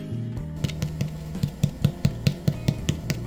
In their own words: you can hear the hollow sound of the bread and listen to the crunchy sound of the crust